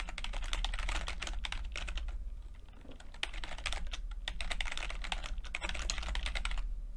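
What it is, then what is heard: Plastic computer keyboard being typed on. Fingertips of both hands type continuously on a full-size plastic computer keyboard with red and blue backlit, low-profile keycaps. The result is a dense stream of quick, bright plastic clicks and taps over a steady low hum, with typing easing briefly midway before picking back up.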